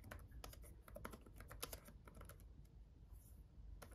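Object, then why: Plastic laptop keyboard. Both hands type with their fingertips on a black gaming laptop keyboard with red backlit plastic keys. Quick, dry, irregular taps click out with bright tops and almost no ring, over a steady low rumble.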